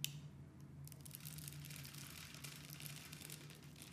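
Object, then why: Bar of glycerin soap cut with a metal blade. A metal blade carves small pieces off a solid oval of orange translucent glycerin soap with a textured grid surface, held in the hand. Soft, continuous crisp scraping and crackling fills the high range, over a steady low hum near 140 Hz. The level stays quiet and even throughout.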